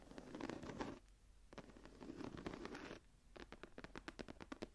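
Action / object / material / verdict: scrape / embossed leather journal cover / leather / none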